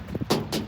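Knocks on the exterior door of a house, which sounds like metal. Short, sharp raps with a bright broadband crack fade out quickly, with a faint low thud beneath them.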